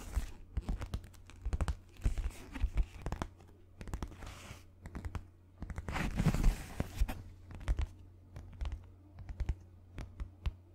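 A white sheet of paper is rubbed and scratched with fingertips and nails, producing bursts of dry crinkling and scratchy clicks. A louder rustling swell comes near the middle, all over a steady low hum.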